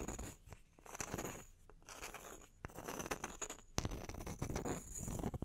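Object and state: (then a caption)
Wooden log slices scratched and tapped. Long nails scratch and tap across the faces of two small, solid, round wooden log slices held on their edges. The result is a quiet, continuous run of dry, rustling scrapes broken by sharp, short taps, some louder than others, with little ring after each.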